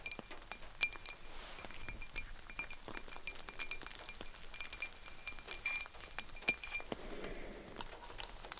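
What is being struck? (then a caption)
Ceramic mug. A cow-themed ceramic mug is tapped repeatedly, giving many quick, bright clinks with a ringing tone near 2.4 kHz. Each clink dies away almost at once over a low background hiss.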